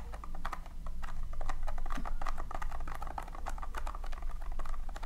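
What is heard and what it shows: Long painted nails and fingertips scratch and dig through loose tiny colored polystyrene foam beads in a round tin. A rapid, dense rustling-scratch of many quick clicky ticks plays over a steady low hum.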